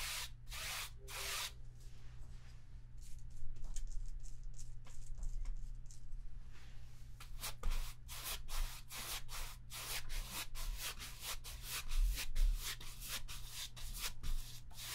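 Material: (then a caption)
Cotton. A small paint sponge held in the fingers dabs and rubs against a large white stretched cotton painting canvas on an easel, a taut fabric surface over a hollow frame. The result is a run of short, soft, bright brushing pats and scrubbing rubs, sparse at first and then quicker and more regular, over a steady low hum.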